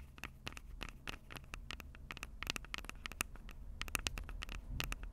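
Long purple acrylic nails tap rapidly on the two metal-grilled microphone capsules of a Tascam DR-05 handheld recorder with a plastic body. The result is a quiet, irregular patter of sharp, dry clicks with a bright tone around 2.6 kHz over a steady low rumble. Each click dies away almost instantly.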